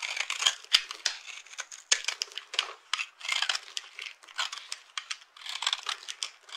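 A blade tool scrapes and cuts across a small, solid, dry green bar of soap set in a shallow silver-edged dish held in both hands, with the crumbs falling onto a pile of broken soap pieces. A rapid run of short, crisp, bright scraping and crackling bursts is heard, each cutting off quickly, with no low end.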